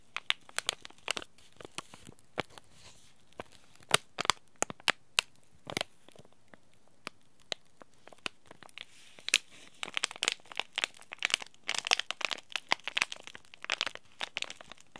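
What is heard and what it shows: A small green laminated plastic-foil Itoen tea bag packet is squeezed and crinkled by the fingers. It makes a dense run of sharp, dry crackles and crunches that stop instantly. The sound is bright and thin, with almost no low end, and the crinkling grows busier toward the end.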